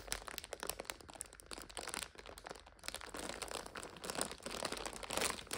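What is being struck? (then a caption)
Instant noodle multipack in thin plastic overwrap. Long nails press, scratch and crinkle the clear plastic overwrap of a full purple five-pack of instant noodles. It makes dense, bright crackling crinkles in rapid bursts, which ease off briefly around the middle before building back up.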